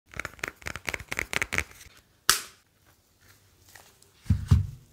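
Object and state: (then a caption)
Smartphone (glass and metal). A hand-sized, slim smartphone with a glass front and a grey metal back is held in both hands and rubbed and tapped with fingertips. Eight quick, soft, scratchy taps come first, then one sharp, bright click after a pause. Quiet rustling follows, and the clip ends with a couple of heavier, low thumps.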